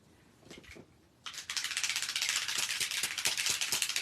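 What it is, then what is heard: Spray bottle with mixing balls rattling. A mica spray bottle labeled Frosted Juniper is shaken hard so the little mixing balls inside stir up the mica that has settled in the bottom. A few faint rattles are followed by a loud, steady, bright clicking rattle of the balls for the rest of the clip.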